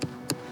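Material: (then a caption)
Subsoil. Two sharp taps on undisturbed natural subsoil at a possible stone socket dig, giving the solid reference sound for natural ground as opposed to the softer fill. Each tap is short and dies away almost at once with little ring, and music plays underneath.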